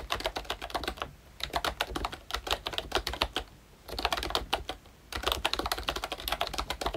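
Both hands type with their fingertips on a pink plastic ROYCHE Disney Mickey Mouse retro membrane keyboard with round black keycaps. Rapid, short, bright clacking taps with almost no ring come in runs, broken by brief pauses near 1 second, 3.5 seconds and 5 seconds.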